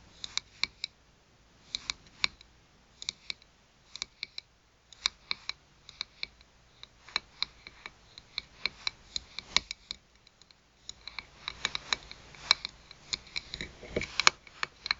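Long nails tap and scratch the thin, shiny metal back of a small round button badge lying face down with its pin showing. There are 47 quiet, sharp, bright clicks that cut off almost at once, in bursts with short pauses, plus a faint scratching rasp between some taps.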